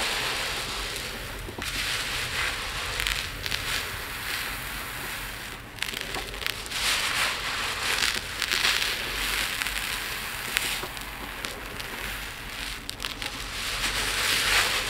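Fingertips with long nails rake and press through a large pile of tiny multicolored acrylic/resin diamond painting drills in a dark round plate. The loose beads give a steady, bright rattling and crackling hiss, with brief louder clicks and surges as they shift and spill.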